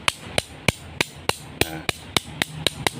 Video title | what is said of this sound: SEKILAS INFO " Jangan Sampai Salah Pilih Golok Untuk Sembelihan " | sama sekali tidak ada nyaringnya. Itu biasanya menandakan bahannya itu kurang bagus.